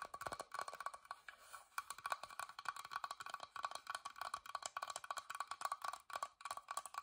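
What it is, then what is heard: Carved wooden box, tapped. Long nails tap rapidly on the carved front of a small, hollow, whitewashed wooden box with a carved floral lid, and then the box is turned and its wooden side is tapped. The result is a dense run of short, dry, hollow clicks that ring around 1.1 kHz, with almost no low end.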